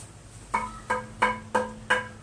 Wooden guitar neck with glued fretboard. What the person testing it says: I could hear it. Like how it's ringing, very solid construction.